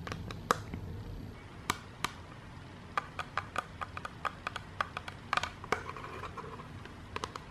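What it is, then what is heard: Clear acrylic organizer insert. A clear, rigid, transparent acrylic divider panel from a jewelry box, a hollow open frame, is held upright in the hands and tapped with long dark-painted nails. The result is a series of sharp, dry plastic clicks with a bright tone around 1.2 kHz that die away almost instantly, over a faint low background hiss.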